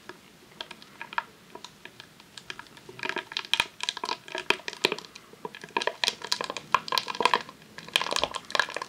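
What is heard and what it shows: A long roll of vinyl adhesive sheet in a clear plastic sleeve, resting on a tablecloth, is rapidly tapped with long nails. Sharp, dry clicks mixed with crisp plastic crinkling start sparse, then grow into dense, fast bursts from about three seconds on. The sound is bright and thin, centered near 1 kHz with no low end, and each tap dies away almost instantly.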